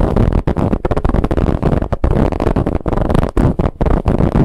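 Long nails of both hands scratch hard across a large, soft, stuffed dark pillow with a striped, textured fabric cover and a zipper seam. The result is a dense, rough, broadband rasping that is heaviest in the low end, broken into quick bursts by short gaps between strokes.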